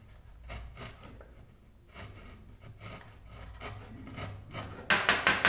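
A wide steel chisel pares and scrapes the hood surface and edges of a hollow hardwood toy car body held in the hand. Soft rasping scrapes repeat unevenly, then four louder, bright scraping strokes end the clip.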